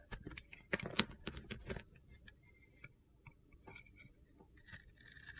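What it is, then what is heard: Soap bar being carved. A utility-knife blade carves thin pieces off a hand-sized solid orange soap bar with a glitter stripe, held in the hand. Quick, crisp, gritty crunches and scrapes come in a dense burst over the first two seconds, then thin out into softer scrapes with faint high squeaks. Each cut stops dead with no ring.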